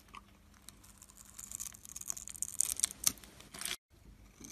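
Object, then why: Bar of soap. A metal blade scores and scrapes a solid, palm-sized rectangular turquoise soap bar held in the hand, crumbling small soap cubes off its top edge. The result is a run of crisp, bright, crunchy scrapes that build in intensity, with the sharpest crackles near the end. They stop abruptly into brief silence before quieter scraping resumes.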